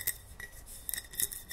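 Fingernails tap and scratch on a large wide-mouth Ball glass mason jar that holds cotton balls. Quick, bright glassy clinks with very short ring stand out over a soft scratchy hiss, with a few taps bunched close together.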